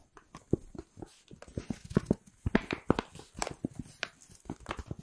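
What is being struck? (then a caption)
Paper gift bag. An empty white Pandora paper shopping bag with black rope handles is held close to the mic and scratched and crinkled with long pink acrylic nails. A quick, uneven series of dry, close-up crinkles and scrapes follows, with a hollow, papery body and little brightness. Each sound stops short with almost no ring.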